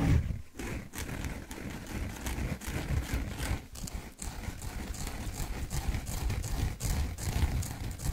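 Fingertips and nails scratch and squeeze the surface of a large, dry, porous yellow foam sponge held close in front of the microphone. It makes a steady, dense rustling scrape with a heavy low muffled rumble and quick soft crackles, broken by brief pauses between strokes.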